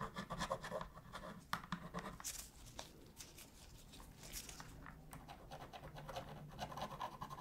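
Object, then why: Plastic game controller with a metal pick. A metal pick repeatedly scratches and taps along the seams near the buttons and D-pad of a black, hollow plastic PS3 controller while cleaning it. The result is quiet, dense scraping with short, dry plastic ticks that die away almost instantly, over a steady low hum.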